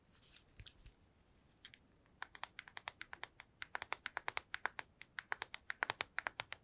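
A small black PSP-style handheld game console with a hollow plastic shell and glossy screen is held in the hands and tapped quickly with long acrylic nails. After a couple of seconds of soft, scattered rustling and light clicks, a steady run of crisp, bright, dry taps follows, each cutting off instantly with no ring.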